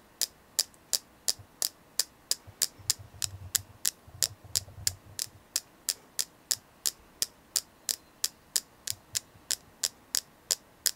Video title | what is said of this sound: Selenite ASMR tapping #ASMR #Selenite #Tapping #crystalsnchi | today I'm going to be doing a tapping video with selenite.